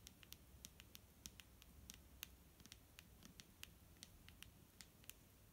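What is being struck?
Plastic bottle of liquid.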